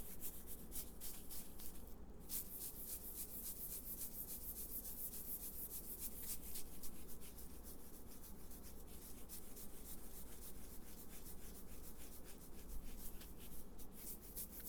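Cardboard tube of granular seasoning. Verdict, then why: Full. A large, unopened cardboard tube still full of Creole seasoning is shaken back and forth, producing a steady, fairly fast swishing rattle of granules shifting inside. The strokes blend into a continuous soft rustle over a low hum.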